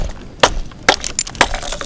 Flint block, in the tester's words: You can hear that they have a lot of cracks and lines in them.